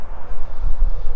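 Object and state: Nothing is struck.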